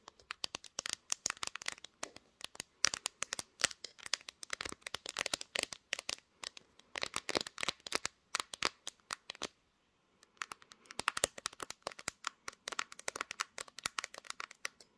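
Long green nails rapidly tap and scratch the pink glass back and sides of a smartphone mounted on a tripod. The sound is dense, dry, bright clicking in quick bursts with almost no low end, pausing briefly around the tenth second before resuming.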